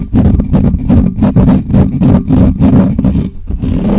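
Fingertips of both hands quickly scratch the bare metal mesh grille of a hollow black microphone. It makes a fast, uneven run of rough, booming scratch bursts, about three per second, heavy in low rumble with little brightness.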